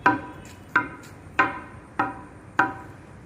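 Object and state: Solid high-strength concrete.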